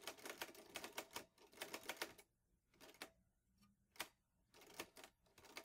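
Fingertips type steadily on the keys of a vintage teal Underwood Olivetti Lettera 22 metal portable typewriter with paper loaded. Quick bursts of sharp, bright key clacks are broken by short pauses with a few isolated strikes. Each clack dies away almost instantly.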